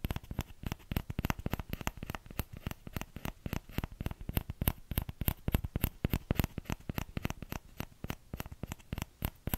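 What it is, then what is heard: Small plastic ladle. Fingertips tap rapidly and continuously on the hollow bowl of a small orange plastic ladle. Each tap is a dull, low, hollow knock with a faint bright click on top, dying away almost instantly. The taps come in an uneven, fast patter across the whole clip.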